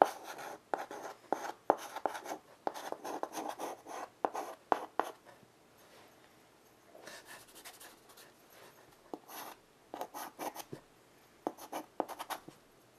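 A white chalk stick held in the fingertips is drawn and scratched across a small, flat, wood-framed blackboard resting on carpet. It makes quick, gritty scraping strokes, dense for the first five seconds, then a near-silent pause. Short, scattered scratches follow, with a midrange rasp and bright, hissy edges.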